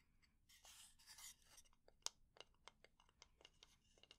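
A fingernail scratches and taps on the head and edge of a solid, light wooden spatula. Quiet, bright scratching fills the first second and a half, followed by nine short, dry taps that die away almost instantly.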